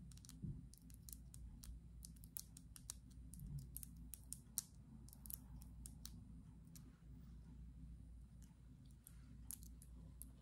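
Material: Glass.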